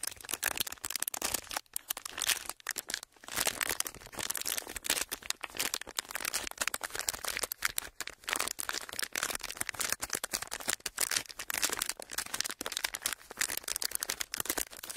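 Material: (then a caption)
Plastic. A thin, clear plastic sheet is pressed and rolled between the palms, producing a continuous dense crinkling and rubbing. Its sharp, bright crackles come in quick clusters with brief pauses, and there is almost no low end.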